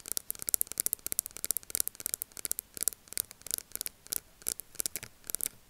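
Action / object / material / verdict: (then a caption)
tap / small plastic powder jar with lid / plastic / none. Long nails tap and scratch the side of a small round plastic loose powder jar and its black plastic lid, held on a table. The result is a quick, irregular run of crisp, bright clicks with soft scratchy rubbing between them. Each tap is dry and dies away at once, with almost no low end.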